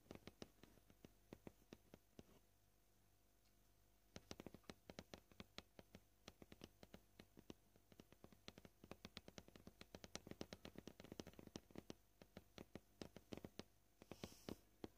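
Short painted fingernails tap a flat, solid white plastic cutting board, making quick, dry clicks with almost no ring. The tapping is gentle and uneven in pace: sparse at first, a brief pause, then faster clusters of bright taps through the rest of the clip.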